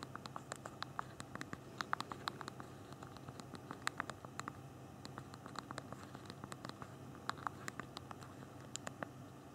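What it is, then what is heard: Typing on a phone's plastic keyboard. Thumbs repeatedly tap the small plastic keys of a handheld BlackBerry phone's physical keyboard while typing a message. The result is a quiet, irregular stream of short, sharp clicks with bright ticks over a low, steady background hiss. Each click dies away almost instantly.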